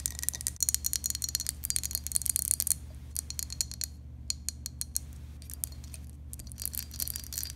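A glass object is tapped repeatedly in quick, irregular bursts, producing bright, short clinks that die away almost instantly. A steady low hum runs underneath throughout.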